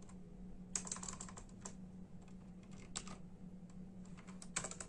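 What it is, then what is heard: Plastic computer keyboard. Bare fingertips of both hands type with slow tapping on a full-size black and silver plastic membrane keyboard with hollow keys. Soft, bright, short clicks come in uneven bursts over a steady low hum.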